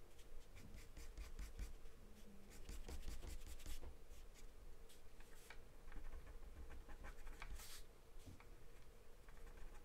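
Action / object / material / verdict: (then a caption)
scrape / pencil on taped drawing paper / paper / none. A pen-like drawing pencil scribbles across a thin, flat sheet of white drawing paper taped down. Quick, quiet scratchy strokes come in rapid bursts with faint bright edges over a low, steady hum.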